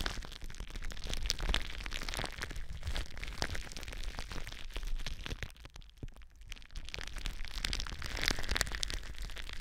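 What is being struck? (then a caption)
Plastic bubble wrap. Long nails scratch and crinkle clear plastic bubble wrap wrapped around a microphone. The result is dense, close crackling and crinkling with frequent sharp pops and a heavy low rumble underneath. The sound eases briefly in the middle before building back up.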